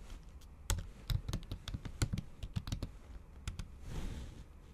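The tips of long acrylic nails tap fast and repeatedly on a MacBook keyboard covered by a thin pink patterned plastic/silicone cover over solid keys. About sixteen short, dull clicks with a low thump land in quick succession, each dying away almost at once. A soft rustling swell follows near the end.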